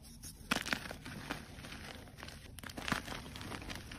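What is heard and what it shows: A solid white gym chalk block is squeezed and crumbled by fingers, and chunks and powder break off. Dry, brittle crunches and crackles come in short, sharp bursts over a steady gritty rustle, with the strongest snaps near the start and again toward the end.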